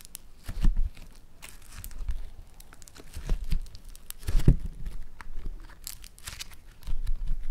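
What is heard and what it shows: A lump of green foam-bead floam clay is squeezed and torn between the fingers of both hands, giving irregular bursts of crackling, crunchy tearing and crinkling. The sounds are mostly low with short, dry pops and bright crackle on top.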